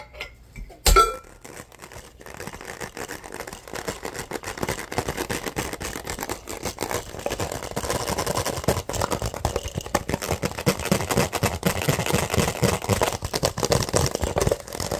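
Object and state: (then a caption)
Empty crumpled plastic water bottle. An empty, hollow, crumpled clear plastic water bottle with a white cap is squeezed, crinkled and scratched with fingers and nails. A sharp click with a brief ringing tone opens the clip, then a dense, fast stream of crackling and scratching builds and stays busy to the end.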